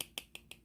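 A reassembled Cold Steel Recon 1 steel folding knife with a Tri-Ad lock is shaken hard, and its blade rattles because the lock tension has been loosened. Five short, dry, bright clicks are heard with almost no low end and no ring. The slight rattle is not normal and would not occur if the tension were tighter.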